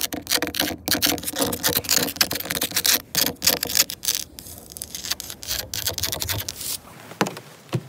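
Long nails scratch quickly across the grain of solid, grey, weathered wooden deck planks and tap on them. The result is a dense run of bright, dry scratches and short taps with an uneven rhythm, fading to a few sparse taps at the end.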